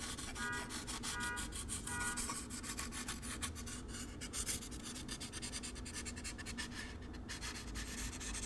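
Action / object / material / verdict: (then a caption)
scrape / expanded polystyrene foam packing insert / polystyrene foam / none. Fingertips rub and scratch the surface of a hollow, empty white molded expanded-polystyrene packing insert held close to the microphone, with the foam pieces squeaking against each other. Three short, pitched squeaks come in the first two seconds, over a continuous, dense, bright scratching that stays at a steady level for the rest of the clip.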